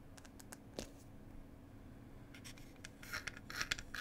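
Long nails tap and scratch on a small hollow wooden tea box, giving quiet, irregular bursts of dry, scratchy clicks. The taps grow denser and brighter toward the end over a faint low hum.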